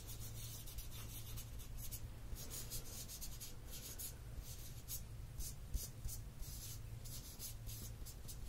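A gloved fingertip taps and scratches the paper label and plastic body of a tall, full plastic squeeze bottle of raw honey with a green plastic cap, held in one hand, and the cap is handled at the end. Quiet, bright, papery scratching and rubbing comes in short bursts over a steady low hum, with a few slightly louder taps near the end.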